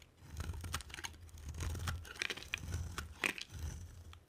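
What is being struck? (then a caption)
Bar of soap carved with a blade. A box cutter blade carves a palm-sized solid bar of dry green and white striped soap, making crisp, dense scraping and crunching cuts. Bright, brittle crackles with quick flakes sit over a steady low rumble, and each sound stops almost instantly with no ring.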